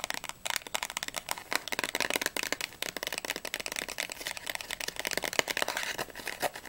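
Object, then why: Small closed cardboard candy box. Long nails tap quickly on the front, sides and edges of a small, closed, printed cardboard Ahoj-Brause candy box that is hollow, with its contents not visible. The result is a rapid, uneven stream of crisp, bright clicks that stop almost instantly, with a light papery rattle and almost no low end.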